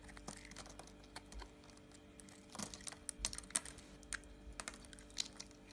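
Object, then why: Bar of solid soap cut with a knife blade. A yellow utility knife blade cuts into a white oval bar of solid soap held in a wet hand. Quiet, crisp clicks and scrapes come in irregular bursts, with bright, sharp ticks over a faint steady low hum.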